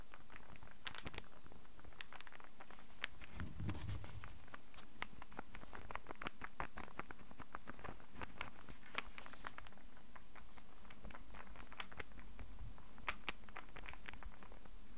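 Fingertips and nails tap quickly and repeatedly on a hand-sized, solid light-wood star burr puzzle held in the hands. The result is a steady, quiet patter of crisp, dry clicks over a soft low rumble.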